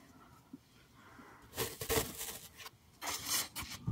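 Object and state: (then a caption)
Floral foam block scratched. A solid green floral foam block covered in finger dents is held up close and scratched and pressed with fingertips and nails. After a quiet, hissy start, bursts of dry, bright, crackling scratches rise and fall, with a brief low thump at the very end.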